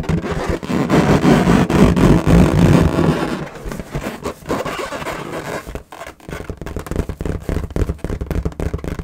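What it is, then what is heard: Latex balloon. Long nails tap fast on the surface of an inflated, hollow, air-filled lilac latex balloon held in both hands. The first few seconds are a loud, dense, low, muffled rumble. It then drops to quieter, rapid, irregular tapping with short, dull ticks that barely ring.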